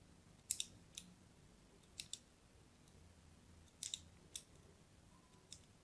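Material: Soap.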